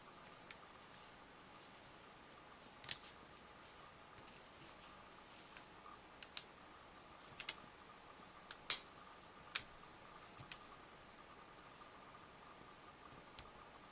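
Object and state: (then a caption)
Magnetic toy lattice clicking. An assembled Magnetix lattice, about hand-length, made of white plastic magnetic rods joined by steel balls, forms an open, hollow frame that is squeezed and bent into a loop by both hands. About a dozen sharp, bright clicks sound at irregular intervals as the magnets click and shift. Each click dies away almost instantly over a faint, steady background hiss.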